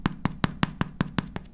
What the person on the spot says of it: 音が一般のパフとはレベルが違う